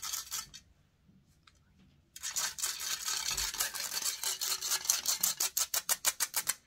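Long painted nails scratch the hollow metal mesh grille of a large silver condenser microphone held in one hand, producing bright, harsh scraping. A short burst is followed by a near-silent pause, then dense, continuous scratching that breaks into quick, rhythmic strokes toward the end.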